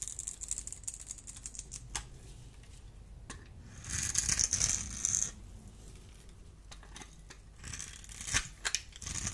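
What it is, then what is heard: Bar soap being scraped. A solid, dry blue bar of soap is held in the hand while a small metal blade scrapes and crumbles its cubed surface. Quick, crisp, bright crackles come in irregular bursts, with a louder, denser stretch of scraping in the middle and another near the end.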